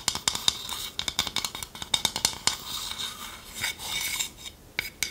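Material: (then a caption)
Wood. Long nails tap rapidly on the outer surface of a hand-sized, hollow, empty, dark polished wooden bowl held in one hand, while the other hand holds a wooden spoon. The result is a quick, uneven series of sharp, dry clicks that are bright and high, centered around 3.7 kHz, with almost no low end and no ring after each tap.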